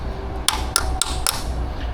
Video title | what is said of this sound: CAN WE FIX A 40 YEAR OLD MERCURY 150HP BLACK MAX #mercuryoutboards #boat #outboard #mercurymarine | You hear a hollow sound when you've broken the seal.